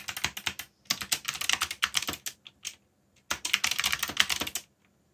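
Fingertips rapidly tap the keys of a backlit black plastic mechanical keyboard while typing. Quick bursts of sharp, bright clicks come with almost no low end. The typing runs in several flurries broken by short pauses and one longer gap.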